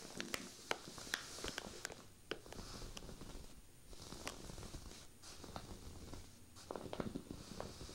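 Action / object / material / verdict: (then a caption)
scrape / cable-knit wool sweater / knitted fabric / none. Fingertips with long painted nails scratch and rub across a folded cream cable-knit sweater of soft knitted fabric lying flat. The result is a quiet, steady, scratchy rustle with a bright, airy hiss, broken by sharp, dry nail ticks that die away instantly.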